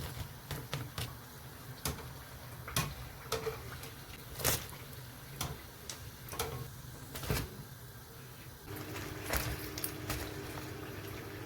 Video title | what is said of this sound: [SUB] Crispy Chicken Pakora + Potato Samosa - 2021 Eid Recipe - URDU - HINDI | Can you hear how crispy they are?